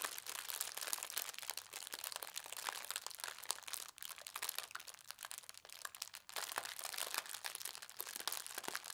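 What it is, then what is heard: Tissue paper being crinkled. Hands with long red nails press and rub a folded stack of thin white tissue paper printed with gold stars against a tablecloth. It makes a steady, bright crinkling and crackling with dense sharp rustles and almost no low end. The sound dips briefly quieter near the 4- and 6-second marks.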